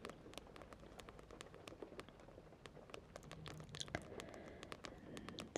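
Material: Paper, card.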